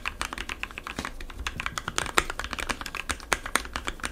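Fingertips of both hands type rapidly on a compact 60% mechanical keyboard with white, blue and yellow plastic keycaps, lubed Gateron switches and foam inside the case. A dense, continuous run of short, crisp clacks with bright tops, centered around 1.3 kHz, with each keystroke dying away almost instantly.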